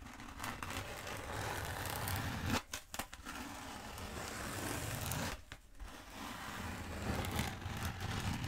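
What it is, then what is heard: Foam roller. Long nails tap and scratch the surface of a long black foam roller held diagonally. The result is a steady, dense scratching with a low, rumbly body and a soft brushed hiss, broken by two brief quiet gaps before it resumes.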